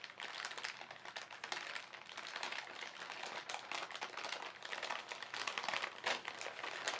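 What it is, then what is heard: Plastic carrier bag being crinkled. Fingertips scrunch and crinkle the surface of a thin, soft, hollow white printed polyethylene shopping bag holding paint supplies, with a clear inner bag nearby. The result is a continuous run of fine, bright, crackly crinkles with no low end, held at a steady, quiet level throughout.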